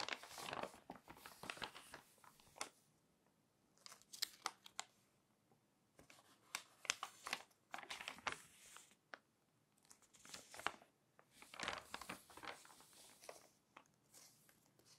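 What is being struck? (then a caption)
Glossy paper magazine pages. Thin pages of an open glossy paper magazine are flipped and rubbed with the fingers and long nails. Bright, dry crinkling and rustling comes in bursts separated by brief quiet pauses, with crisp papery snaps and almost no low end.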